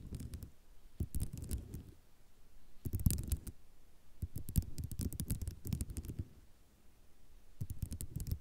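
Long nails tap and scratch across a flat sheet of small white ceramic mosaic tiles. The result is bursts of quick, dry clicks and scraping rattles with a low, muffled body, and short quiet gaps between the bursts.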